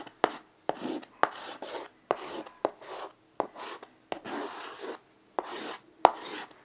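A child writes "THANKS" with a stick of white chalk on a flat rectangular chalkboard, about 40 by 60 cm, with a dark writing surface and a light wooden frame, lying on carpet. Nine sharp chalk taps each lead into short, bright scratching strokes, with brief silences between letters. The word ends up written on the board, with the hand resting beside it.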